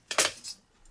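The metal ring on a Danish ring sword, an ordinary combat sword, gives two quick, bright metallic clinks close together. A softer faint chime follows, and each note dies away almost at once with little ring.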